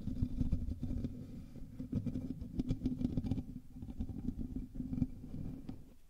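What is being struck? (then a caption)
Metal mesh microphone grille. Fingers of both hands scratch and rub the top of the hollow metal mesh grille on a black USB microphone. The result is a dense, continuous rumbling scratch, heavy in the low end with a faint hum near 250 Hz. Quick crackling bursts flicker through it before it tapers off at the end.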